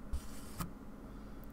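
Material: Nothing is struck.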